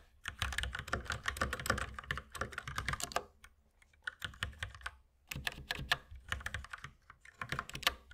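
Two hands type rapidly with their fingertips on a white mechanical keyboard with plastic keycaps while the mouse stays idle. Dense bursts of sharp, bright plastic clacks with a low thocky body are broken by short pauses. Each keystroke dies away almost instantly.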